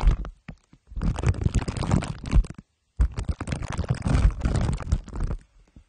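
Two glue sticks are rubbed over the top of a microphone head wrapped in crumpled aluminium foil under clear plastic wrap. The result is dense, low, rumbling scrapes and crinkles in two long bursts separated by a brief silence.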